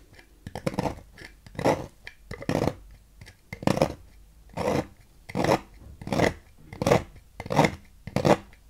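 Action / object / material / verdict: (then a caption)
scrape / bar soap carved with a thin metal knife / soap / none. A thin metal knife scrapes thin shavings from a solid blue Fax bar soap with a ridged carved face, held in hand. Short, dry, crisp scraping strokes repeat at an uneven, steady pace, with brief quiet pauses between them.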